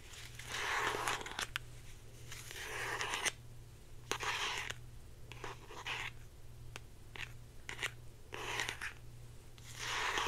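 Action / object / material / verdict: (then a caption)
scrape / plastic deodorant stick / plastic / none. Long painted nails scratch and tap a hand-sized, hollow blue plastic Secret deodorant stick with a cap, held in one hand. Bursts of bright, dry scratching alternate with short pauses, punctuated by sharp plastic taps, over a steady low hum.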